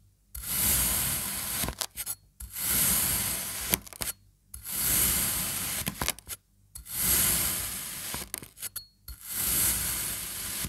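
A serrated knife makes repeated cross-cuts through the orange and yellow sections of a sliced kinetic sand slab, possibly triangle-shaped. Five long, bright, grainy scraping strokes are heard, each over a low rumble and separated by brief pauses with small crumbly clicks.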